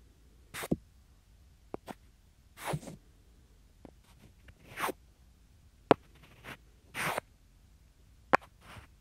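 Two small, solid, light wooden cubes held in the fingers are slid against each other right next to the microphone. Short, breathy scraping swishes alternate with sharp, dry clicks and taps that stop almost instantly, separated by near-silent pauses in an irregular rhythm.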